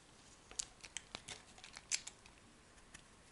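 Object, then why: Bar of soap cut with a metal knife. A metal knife blade scrapes and slices thin shavings from a solid orange-brown oval soap bar held in the palm. The result is a quiet series of short, crisp, bright scraping clicks with almost no low end, each dying away quickly, with brief pauses between them.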